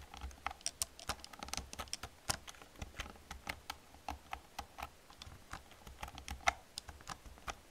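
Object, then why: Plastic computer keyboard. Long painted fingernails and fingertips type rapidly on a full-size black plastic membrane keyboard with a hollow casing, resting on a desk. A quick, uneven stream of short, bright clicks and hollow taps plays over a faint low hum, with one sharper, louder tap near the end.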